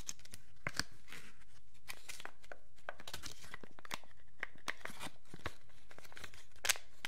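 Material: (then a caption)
Plastic film. A small, thin, clear plastic packaging wrapper is held in both hands while the fingertips crumple and crinkle it. Quiet, crisp crackles and sharp snapping bursts come in quick succession, bright and brittle across the whole clip, with a few louder pops standing out.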